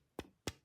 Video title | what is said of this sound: She's Sexy & Lights Up The Room! - Dawson Machine Craft Ion Slim Flashlight Review | You hear that? That's the battery because it doesn't have a spring. It's just a little bit loose in there.